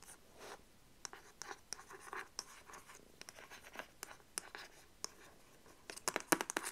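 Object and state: Printed cardboard box sleeve.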